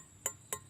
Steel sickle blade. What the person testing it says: pasti berbunyi Ting Ting Ting itu pertanda Bahannya bagus